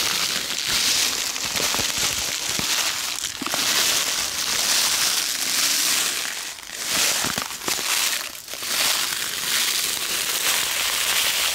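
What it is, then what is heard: Paper envelope, crinkled and tapped. Long red-painted nails and fingertips rub, crinkle and tap a small, flat, hollow white paper envelope or sachet held in one hand close to the microphone. The result is a steady, bright, dense paper crinkling with a few brief sharper taps and short dips where the rubbing pauses.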